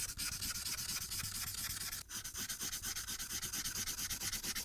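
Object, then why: Felt-tip marker on a paper sheet. A marker's felt tip is rubbed in rapid strokes over a thin paper coloring sheet lying flat on a clipboard. It makes a dense, bright, scratchy swishing that pulses in quick, fairly even back-and-forth strokes. A brief pause comes near the middle before the strokes resume.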